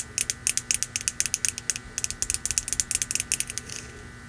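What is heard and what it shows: A hand-held red ceramic mug lettered "Merry Christmas", hollow and apparently empty, is tapped and scratched on its side with long nails. About 24 quick, bright, high-pitched clicks come in an uneven rapid patter, each dying away almost instantly. The run ends in a brief, soft scratch before falling quiet.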